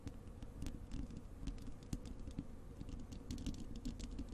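Long acrylic nails scratch and tap the bare, hollow wire-mesh metal grille of a large desktop microphone. A dense, continuous run of quick scratches and light taps gives a low, boomy rumble, with short bright ticks flickering over the top.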